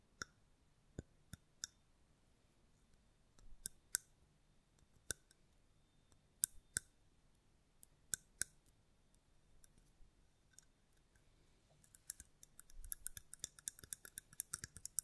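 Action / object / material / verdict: tap / mosaic glass candle holder / glass / none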